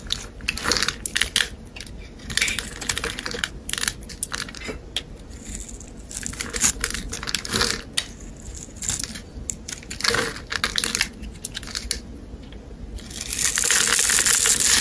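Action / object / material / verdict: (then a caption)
scrape / bar of soap scraped with a metal blade / soap / none. A metal blade scrapes and scores the surface of a hand-sized, solid rectangular pale green bar of soap held by fingers with blue painted nails, cutting off crumbly shavings. Quick, irregular bright crunchy scrapes repeat throughout. A denser, steady hiss builds near the end.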